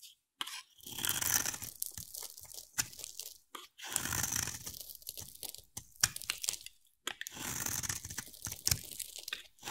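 A hand-sized solid blue bar of soap with white stripes is scraped and carved with a utility knife blade held by long-nailed fingers. Bright, crunchy scraping bursts come in short strokes separated by brief silences, with sharp cracking clicks between them.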